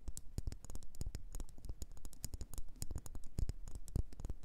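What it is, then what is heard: Wax pillar candle. Long nails tap and scratch on a solid red faceted wax pillar candle. The result is a rapid, irregular run of short, dry clicks with soft low thuds beneath bright, crisp ticks, each dying away almost at once.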